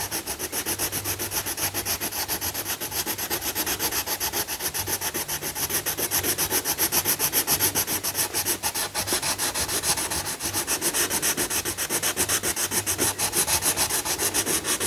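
A yellow coloured pencil, held in the fingertips, is rubbed quickly back and forth to shade a thin paper page of a large colouring book lying flat while the other hand steadies the page. It makes a bright, dry scratchy rubbing in a steady rhythm of rapid strokes, growing a little louder midway and staying even to the end.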